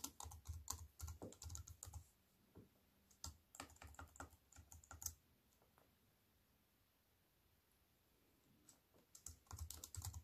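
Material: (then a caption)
Plastic. Fingertips with white-painted nails type on a slim wireless keyboard with black plastic keys in a grey metal-look frame, lying on a wooden table. Quick, irregular runs of short clicky taps with a soft low thump beneath them give way to scattered keystrokes. A few quiet seconds follow before a final burst of typing near the end.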